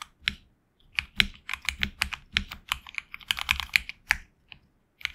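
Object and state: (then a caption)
Mechanical keyboard with PBT keycaps. Fingertips type on a HyperX Alloy Origins Core mechanical keyboard with HX Red switches and backlit black and red PBT keycaps. A quick, uneven run of short, bright key clacks and taps comes in bursts with brief pauses between them. Each stroke is crisp and dry, dies away almost instantly, and has very little low-end thump.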